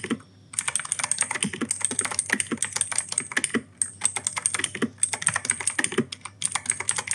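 Fingertips type steadily on the plastic keycaps of an E-Yooso K-620 mechanical keyboard with clicky Outemu Blue switches. Rapid, sharp clicks with a bright, high-pitched ring come in quick bursts, broken by a short pause near the start and a brief gap just before the four-second mark. Each keystroke decays almost instantly, with little low-end thump beneath the crisp, clacky sound.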